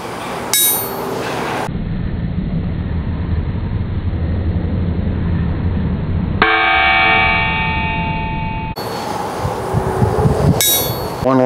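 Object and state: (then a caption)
Hard-faced anvil with good rebound. A steel ball bearing is dropped from 20 inches onto an old wrought iron anvil with a tool steel face that was hard-faced using welding rods, preheated to about 400 degrees. Bright metallic pings ring out with sustained high overtones, then a quick run of bounces patters at the end. The rebound marks it as a very good hard surface.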